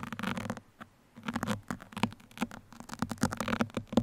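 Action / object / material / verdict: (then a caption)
scrape / open-cell foam microphone windscreen / foam / none. Two thin steel sewing pins, held in the fingertips of both hands, scratch and poke the surface of a soft black open-cell foam windscreen fitted over a microphone. Close, dense bursts of dry, crackly scratching and tapping come in quick clusters, with a short quiet gap early on. A faint low hum sits underneath.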